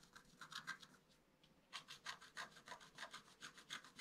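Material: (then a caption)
Coated card. A wooden stylus scratches near the bottom of a flat black-coated scratch-art card, making quick, dry, bright scraping strokes at roughly three per second in an uneven rhythm. The strokes soften and nearly pause for about half a second, then return louder and sharper until the end.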